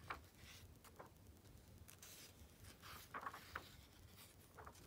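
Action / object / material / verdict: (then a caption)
scrape / glossy coated-paper magazine / coated paper / none. An open glossy Vogue magazine, its "Activism Now" issue, rests on black fabric while fingertips turn the pages and a flat hand rubs over the smooth coated paper. Quiet, soft papery swishes and rubbing hiss run throughout, broken by short crisp ticks and crackles as the pages catch and flip.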